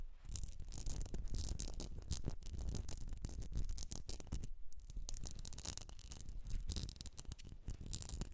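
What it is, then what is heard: Glass candle jar filled with wax. Long nails tap and scratch the sides of a medium etched glass jar filled with solid wax. A dense, steady run of quick clicks and rough scraping follows, with a heavy low thud under bright, crisp tips and almost no ring after each touch.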